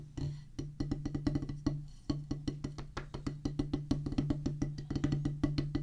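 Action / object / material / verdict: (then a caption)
strike / rubber practice pad on a wooden base, struck with drumsticks / rubber / none. Two wooden drumsticks drum fast on a solid oval practice pad with a black rubber top on a pressboard/wood base. Rapid, irregular taps each give a dull, woody knock with a low tone around 140 Hz that dies away quickly. The rolls and bursts run continuously, with a brief pause near the two-second mark.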